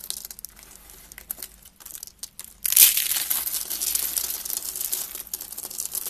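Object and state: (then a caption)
Dry soap curls crushed. Small, hollow, rolled curls of dry pink soap are squeezed and crushed in one hand with fingertips and nails, shattering into flakes. Soft, sparse crinkling gives way to a sudden louder burst of dense, bright crunching and crackling just before the third second. The crunching then continues steadily with a fine, high-pitched, brittle texture.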